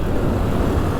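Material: Nothing is struck.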